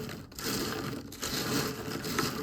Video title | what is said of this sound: Low Carb Sweet N Spicy Cinnamon Pecans | that's how crispy and crunchy that they are